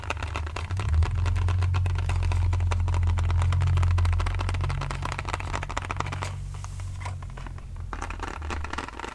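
A small, hollow white printed cardboard box with a pink design is held in both hands and scratched and tapped with fingernails close to the mic. A rapid, fairly steady run of soft taps and scratches, about four per second, rides over a deep, boomy low-end resonance. The sound eases briefly near the end before picking up again.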